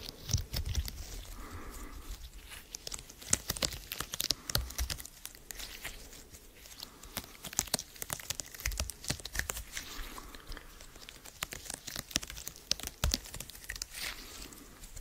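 A small flexible purple silicone/rubber lattice mesh with an open grid is held in both hands close to the mic while fingertips and nails squeeze, stretch and scratch it. The result is dense, crinkly, tearing-like crackles with many sharp bright clicks over faint low thumps.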